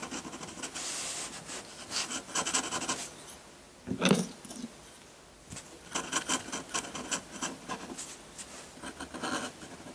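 A metal dip-pen nib in a wooden holder scratches dense hatching across a sheet of textured white drawing paper. Quick bursts of dry, bright, rasping strokes come in clusters, with a louder, lower scrape around the middle and a short quiet gap before the scratching resumes.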